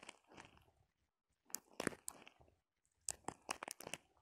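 Long painted acrylic nails scratch and tap a small ball covered in pinned-on red plastic sequins, with loose sequins scattered around it. Quiet, bright, crunchy crinkling and clicking come in three bursts separated by short silences, each tap dying away almost at once.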